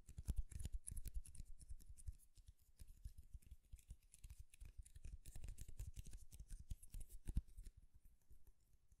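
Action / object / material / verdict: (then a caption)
scrape / wooden comb / wood / none. Fingernails drag quickly along the row of teeth on a light wooden comb held horizontally, making a rapid strumming scratch. Dense, dry clicks run in quick bursts for about nine seconds, with soft low thumps under bright, crisp ticks that stop instantly. The sound stays quiet throughout and fades slightly toward the end.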